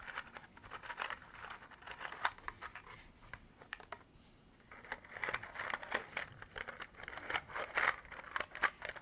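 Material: Plastic.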